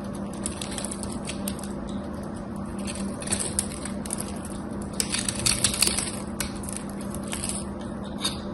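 A metal craft knife blade scrapes and carves a solid bar of soap with an embossed gold-coated surface, making a steady bright, crackly scratching over a constant low hum. The scraping grows louder in bursts around the middle and near the end as dry, crumbly shavings break away.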